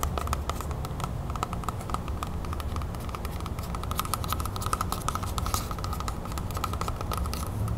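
Long nails tap and scratch quickly across the waxy skin of a whole, large, solid red apple held in the hand. The result is a dense run of rapid, crisp clicks and scratches over a steady low hum.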